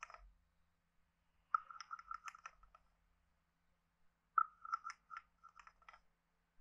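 A hand-sized, hollow, carved wooden frog guiro is tapped and rubbed with a wooden stick on its head and body. Quick bursts of dry, hollow clicks and short scraping rasps ring with a woody tone around 1.3 kHz, separated by pauses. Every strike dies away almost instantly.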